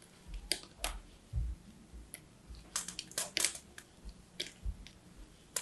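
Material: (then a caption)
Soap. A small metal blade scrapes and chips the dry surface of a solid striped bar of soap. Short, bright, crisp scratching bursts come in an uneven series, with soft low thuds between them in a quiet, close setting.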